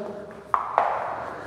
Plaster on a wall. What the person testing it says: смотрите как штукатурок отходит бухтит